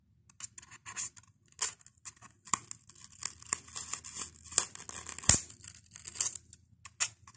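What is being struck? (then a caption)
Expanded polystyrene foam block. Fingernails scratch and pick at the beaded edge of a white expanded polystyrene (styrofoam) block set next to a microphone. The result is a run of dry, bright, crackly scratches and squeaky ticks, almost all high-pitched with little low end. Each burst stops short with almost no ring.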